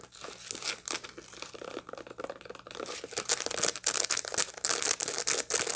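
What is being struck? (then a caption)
Dried sunflower head with seeds. A dried sunflower head with its seeds still attached is held in both hands and scratched with long light-blue nails. Quick, irregular dry crackling and crinkling scratches sound bright and papery, growing louder and sharper in the second half.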